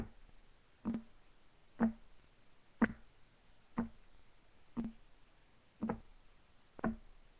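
Fingertips of both hands rapidly tap on a solid, flat, light wood desk top. Seven short, dull knocks land about once per second, each a low-mid thud around 230 Hz that dies away almost at once against a quiet background.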